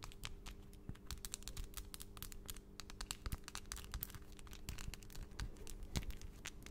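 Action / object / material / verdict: tap / acrylic nails / acrylic / none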